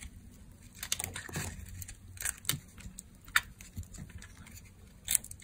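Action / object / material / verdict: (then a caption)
scrape / bar of soap scraped with a knife / soap / none. A utility knife scrapes and carves a solid, dark brown, dry bar of soap into curled shavings. Short, crisp, bright scraping and cracking strokes come at irregular intervals over a soft, low background rumble, with a few sharper cuts standing out.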